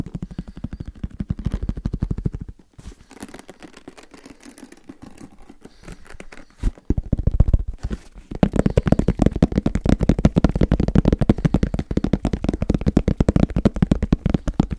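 Fingertips tap fast on the surface of a medium-sized black, semi-rigid, hollow headphone case with a fabric-covered shell, held in both hands. The rapid taps make dull, low, hollow thuds with almost no ring. They soften for a few seconds in the middle, then return louder and denser through the end.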